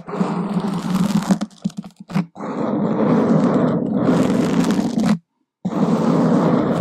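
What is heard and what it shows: Two wooden skewers scratch from below against a black open-cell foam microphone windscreen, making a dense, rough crunching and rustling concentrated in the low-mids. The scratching runs steadily, breaks into a few choppy bursts, stops briefly near the end, then resumes at full strength.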